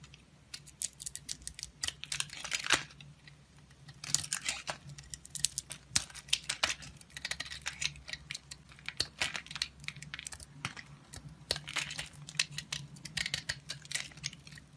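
A solid oval soap bar with an orange spotted outer layer and a yellow core, held in the hand, is carved and sliced with a utility-knife blade. Dense bursts of crisp, bright scraping and clicking come from the cuts, with short pauses between the carving passes, over a faint low hum.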